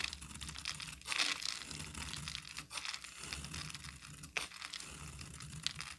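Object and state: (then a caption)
Bar soap scraped into shreds. A solid green bar of soap held in the hand is scraped with a metal utility knife blade into fine shreds. The result is a continuous bright, dry scratching and crinkling sound, with a louder burst of scraping just after the first second and brief sharp accents along the way.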